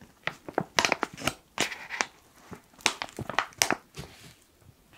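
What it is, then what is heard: Foil coffee bag. A black foil coffee pouch is squeezed and crumpled with fingers, giving a quick series of sharp, bright crinkles and crackles. The bursts come in uneven clusters with short pauses between, with very little low-end weight and almost no ring after each crinkle.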